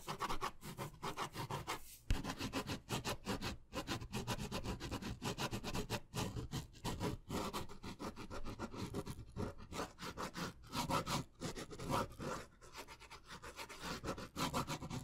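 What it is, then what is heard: Pen scratching on paper. A ballpoint pen is scratched quickly across a thin, solid white paper sheet or card held up in one hand. Rapid, dry scratching strokes come in short bursts with brief pauses, carrying a rough, low-heavy texture and a faint brighter hiss.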